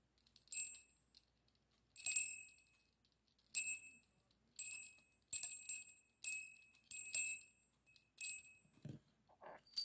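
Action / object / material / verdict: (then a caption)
shake / small brass bell with clapper / brass / none. A small, hollow, brass-coloured metal bell with an internal clapper hangs from a yellow pipe cleaner held in the fingertips and is shaken so it rings, while a second bell sits untouched on the table. Bright, high tinkling jingles come in short, irregular bursts, each ringing briefly before fading. Near the end there is a faint low rustle beneath a few softer jingles.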